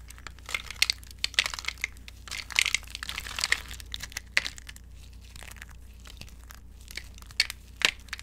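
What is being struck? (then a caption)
Soap curls in a glass bowl. Both hands with long nails squeeze and crush handfuls of dry green soap curls in a glass bowl, breaking them into small brittle fragments. Bright, crinkly crunching and sharp crackles come in dense bursts, ease into a quieter rustle around the middle, then end with a few louder snaps over a faint steady low hum.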